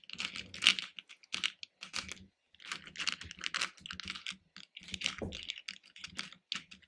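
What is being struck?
Hard-shelled candies in a plastic bowl.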